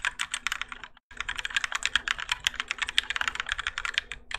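Both hands type continuously with their fingertips on a Keychron K4 compact mechanical keyboard with Gateron Yellow switches and grey and orange ABS plastic keycaps, its plastic and metal case resting on a desk mat. Rapid, bright, short clacks come with a brief pause near the one-second mark, over a faint steady low hum.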